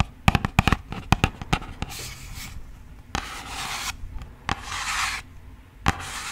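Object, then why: Thin cardboard box. Long nails and fingertips tap and rub a hollow, thin, yellow printed cardboard box. A quick run of sharp, dry taps gives way to bright, hissy scratching strokes, with a few more single taps between them.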